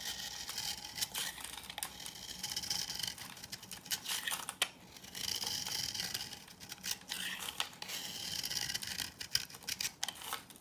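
A green-handled knife cuts and scrapes thin curls and grid cuts into the surface of a hand-sized solid bar of old, dry cream-yellow soap. Bright, dry scraping and crisp crumbly crackles come in dense bursts, with sharp scratchy clicks between passes and almost no low end.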